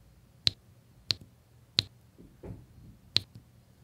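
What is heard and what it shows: A drill pen with a metal tip taps small square resin diamond-painting drills into place, in rows on a flat adhesive canvas. Four sharp, bright, high-pitched clicks ring out at irregular intervals and die away almost instantly. A soft, muffled scuffing fills the gap before the last click.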